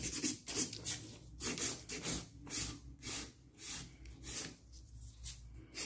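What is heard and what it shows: A nail file rubs across a solid stiletto acrylic or gel nail extension in quick, short strokes, about ten scratchy, bright rasping bursts. A faint low hum sits underneath.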